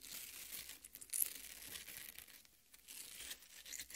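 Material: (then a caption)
Watermelon flesh. Long nails scratch and squeeze the red flesh of a half watermelon, making a quiet, bright, wet crackling and tearing sound that runs almost the whole clip. A sharper burst comes just after the first second, the sound fades briefly past the midpoint, and then the scratching resumes.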